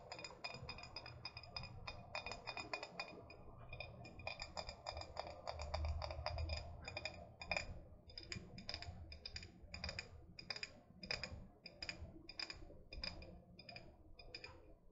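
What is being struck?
Glass bottle with wooden lid.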